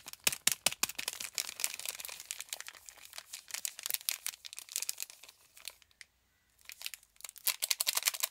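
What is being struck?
Cardboard soap box.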